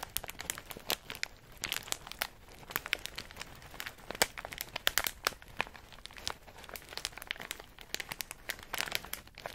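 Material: Plastic.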